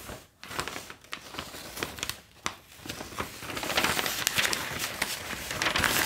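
A large, thin newsprint Globe & Mail newspaper is held up and lowered onto a table while fingertips grip, flip and crinkle its pages. The result is a bright, papery crinkling and crackling that starts soft with short pauses and grows louder and denser toward the end.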